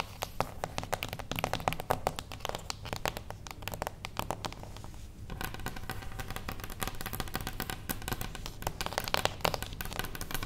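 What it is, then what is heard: Cardboard box tapped and scratched with nails. A small, closed beige cardboard gift box standing on its edge is tapped and scratched with the long acrylic nails of both hands. Rapid, crisp clicks and dry, crinkly scratching form a dense flurry, broken by a brief lull near the middle. The sound then resumes as steadier scratching with scattered sharper taps, over a faint steady low hum.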